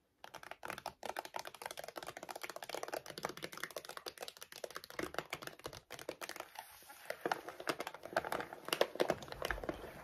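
Long decorated acrylic nails scratch and tap fast across a large laminated plastic dog food bag that lies flat on a wooden desk and appears filled with kibble. Dense, rapid crinkly clicks and scrapes run continuously with short dry bursts, growing a bit louder and sharper toward the end.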